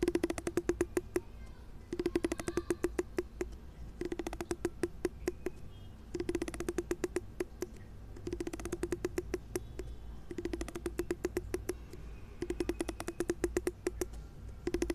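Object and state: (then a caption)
Plastic comb, teeth plucked. A large pink plastic wide-tooth comb held over an earphone cable has its teeth plucked and scratched with a fingertip. The result is rapid bursts of sharp, clicky ticks with a faint tonal buzz, in repeated runs separated by short pauses. A low rumble continues underneath throughout.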